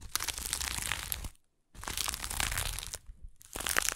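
Long acrylic nails scratch the coarse weave of a small stuffed burlap jute pouch held in one hand. Dense, bright, crinkly scratching comes in three bursts, separated by a short silence and then a brief quieter dip.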